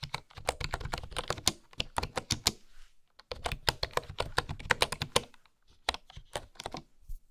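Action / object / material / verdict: tap / bamboo keyboard with flat wooden keys / bamboo / none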